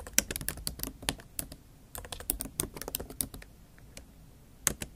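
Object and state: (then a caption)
Laptop keyboard tapped with fingernails. Long acrylic nail tips type and tap on the black plastic keys of a MacBook Pro keyboard set in a silver aluminum laptop body. Quick, bright clicks come in uneven bursts over a faint low hum. The typing pauses briefly before a final few sharp taps.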